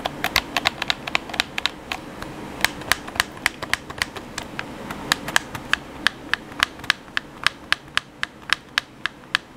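Fingertips tap and click the buttons of a hollow black plastic PS4 controller. A quick, uneven series of sharp, dry clicks with a bright top and a tone near 1.7 kHz rings for almost no time over a faint low rustle.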